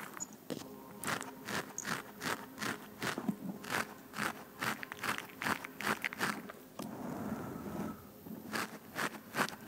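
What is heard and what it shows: Long fingernails on both hands scratch a black foam microphone windscreen, producing a rapid, uneven series of close, crunchy scrapes and crackles. Each stroke is a short, bright, broadband burst that stops almost immediately. Midway through, the strokes blend into a brief continuous rustling scratch before the separate scrapes return.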